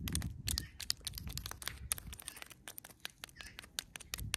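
Long pointed nails tap and scratch a medium-sized, solid, weathered stone rock with an orange-stained surface lying in the grass. A quick, uneven run of sharp, bright clicks with very short ring and light scraping sits over a soft low rumble.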